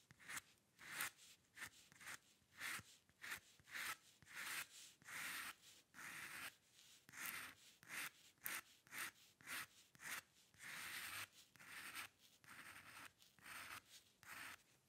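A steel-nib dip pen scratches strokes across a flat sheet of white drawing paper resting on a dark table, lifting briefly between lines. The result is a quiet series of short, dry, bright scratching bursts, each clearly separated by a brief pause, with no low rumble.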